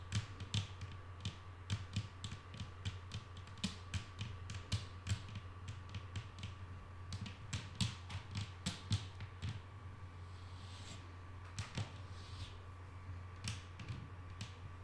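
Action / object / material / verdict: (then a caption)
tap / wooden tabletop tapped with fingernails / wood / none. Long painted nails tap on a flat, solid wooden tabletop, making quick, quiet, dry clicks that die away almost at once. The tapping comes in irregular bursts with a short lull near the middle, over a steady low hum and a faint constant tone.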